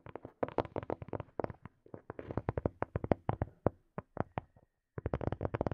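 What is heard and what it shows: Fingertips and nails tap rapidly on a small, hollow black plastic earphone case, producing about 33 quick, dry, hollow clicks and knocks with no ring. The taps come in dense bursts, pause briefly near the end, then resume in a fast flurry.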